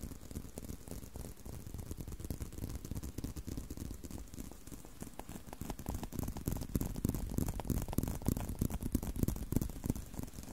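Fingertips and short nails scratch and tap on a solid brown (tan) leather belt strap with holes, held curved. The result is a dense, dry patter of soft, low scuffs and taps with no ring, growing louder in the second half.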